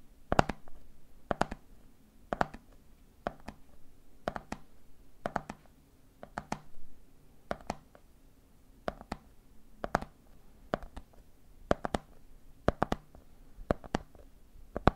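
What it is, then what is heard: Plastic jar of peanuts, tapped. Fingertips tap the top of a red plastic lid on a medium clear plastic jar full of peanuts, and fingers tap the jar's side. Quick, dry clicks come in small clusters about every second over a faint low hum. Each tap dies almost at once with no ring.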